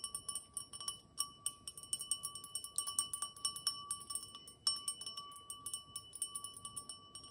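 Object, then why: Cut crystal wine glass. An empty cut-crystal wine glass, held up close, is tapped and scratched around the bowl with long nails. Around thirty quick, bright taps each ring briefly with clear tones near 1.1 kHz and higher overtones, mixed with faint scratchy ticks over a quiet background.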